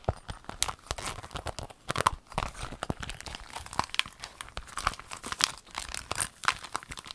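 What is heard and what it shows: A rainbow clear vinyl pencil case with a zipper, held in the hands, is squeezed and crinkled with long nails. Dense, dry crinkling and crackling mixes with sharp tapping clicks that stop almost instantly, giving a bright, busy texture with little low end.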